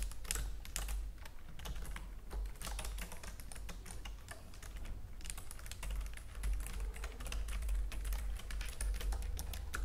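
Long nails on both hands tap and type across a white plastic computer keyboard, making quick, bright plastic clicks that come in dense bursts with a few short pauses. A steady low hum sits underneath throughout.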